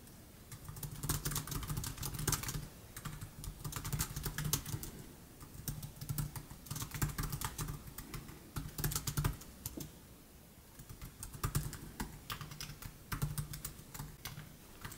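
Fingertips of both hands type continuously on the black plastic keys of a 2015 MacBook Air set in its aluminum deck. Bursts of rapid, short, bright clicks are heard over a low steady hum, with brief pauses between runs of typing.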